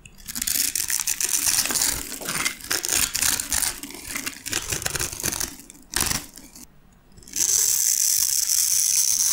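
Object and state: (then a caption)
Dry soap bar, crunchy when carved. A metal blade carves and scrapes a grid pattern into the surface of a light green solid bar of dry soap held in one hand, making crunchy shavings. Dense, bright, crackly scraping runs in quick uneven strokes, dips into a short quiet gap around six to seven seconds, then resumes as a steady, bright, hissing scrape to the end.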